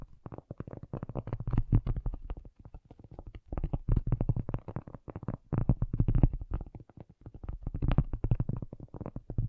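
A cork object is tapped with rapid, uneven bursts of quick taps separated by short pauses. Each tap is soft, dull and low with a thumping body around 125 Hz, dying away almost instantly with no ring or bright edge.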